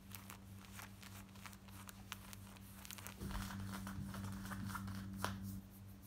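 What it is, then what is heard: Denim jeans being scratched. Long nails scratch fast over the hip and back pocket of worn black denim jeans, producing rapid, bright scratchy strokes over a steady low hum. About three seconds in, the sound grows louder and fuller, with one sharp stroke near the end before it eases off.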